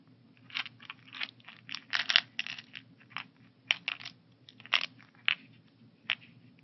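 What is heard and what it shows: A translucent blue plastic AM/PM weekly pill organizer, hollow and holding pills, is tapped across its compartment lids by fingertips and nails. The result is a quick series of bright, dry plastic clicks and scratchy taps, some clustered into short rattling bursts, each stopping almost instantly over a faint low hum.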